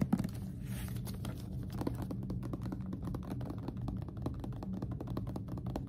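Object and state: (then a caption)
Paper-wrapped cardboard gift box. A small, hollow cardboard gift box wrapped in white polka-dot paper with a green bow is held up and tapped and scratched with fingertips and nails. Quick, dull taps and soft papery scratches patter steadily, with most of the sound low and muffled and almost nothing bright. Each tap stops dead with no ring.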